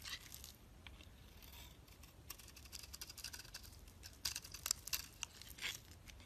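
A utility knife blade shaves curls from the surface of a solid cream bar soap held in the hand. Soft, bright scraping and crisp crackling run throughout, with sharper, louder scrapes in the last couple of seconds.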